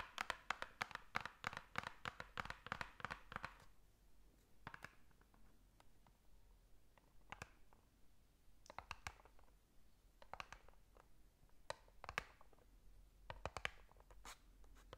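Long nails scratch the ridged surface of a small white ridged cardboard box, held in both hands close to the microphone. A dense run of quick, crisp scratches fills the first few seconds, then gives way to sparser, irregular sharp scrapes and clicks with bright edges. Everything stays quiet and dry, with no ring after each stroke.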